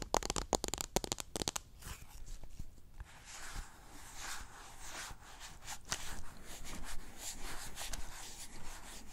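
Long nails rub and scratch teal cotton swabs packed in a small clear pink plastic cup, and the cup is tilted near the mic. A quick burst of sharp, bright clicking and tapping gives way to a softer, steady scratchy rustle with faint low rumble underneath.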